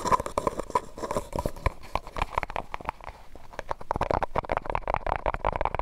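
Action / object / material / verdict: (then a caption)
tap / thin disposable plastic cup / plastic / none. Fingernails rapidly tap and scratch a medium white disposable plastic cup, hollow and empty, held over the microphone. Dry, clicky taps carry a hollow ring near 1 kHz and die away almost at once. A softer scratchy stretch in the middle gives way to a denser burst of tapping at the end.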